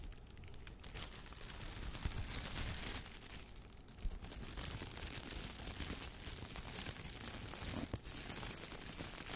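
A clear, thin plastic shower cap with an elastic band is bunched up in both hands and crumpled and rubbed with the fingertips close to the microphone. The result is a steady, bright crinkling rustle that swells and fades, with a few sharper crackles along the way.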